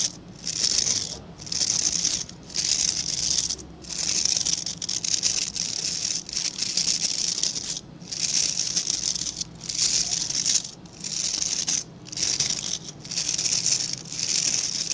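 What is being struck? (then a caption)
Synthetic bristle brush with plastic back. Fingertips and nails rub and scratch across the dense, dark synthetic bristles of a hand-sized scrub brush with a plastic back. The sound is a bright, hissy, crackling scratch with almost no low end, coming in steady strokes of a second or so, separated by short quiet gaps.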